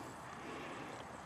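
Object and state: Nothing is struck.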